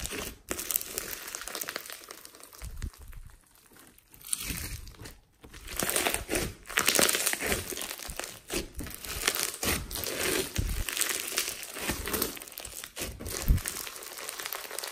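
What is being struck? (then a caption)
Clear glue slime packed with polystyrene foam beads. Hands with painted nails press, squeeze and knead a large, soft, solid mass of clear glue slime packed with small multicolored polystyrene foam beads on a wooden table. The result is dense, bright crunching and crinkling with brief quieter pauses between squeezes.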